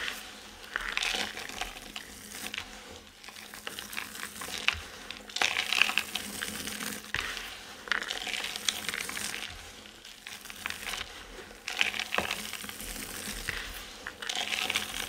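A pile of dry, multicolored soap chips spread on a surface is pressed, rubbed and stirred by palms and fingertips, crushing the solid dry pieces. The result is a steady, bright, crisp crackling and rustling with almost no low end, swelling into louder crunchy bursts every few seconds before easing back to a softer grainy rustle.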